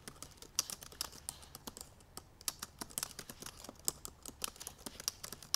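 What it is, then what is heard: Laptop keyboard with plastic keys. Long purple nails and fingertips type fast on the black plastic keyboard of a silver aluminum MacBook Pro laptop. The result is a rapid, uneven stream of bright, dry clicks and taps with almost no low end, each one dying away instantly.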